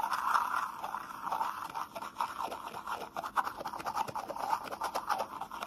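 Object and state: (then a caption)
Plastic cup scratched. A small, hollow, empty red plastic shot cup with a white rim is held close and scratched and rubbed with fingertips and short nails. Dense, quick scratchy strokes form a continuous rasping texture centered in the midrange around 1 kHz, with brief bright flecks and no low end.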